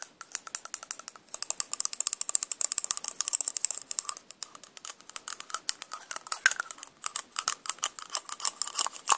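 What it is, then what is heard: Plastic lipstick case clicking. A small, hollow silver lipstick tube of metallic plastic is handled and clicked with pink-painted nails, its cap taken off and clicked back on. The result is a rapid, continuous stream of sharp, dry clicks and light rattling, very short and bright with no low end.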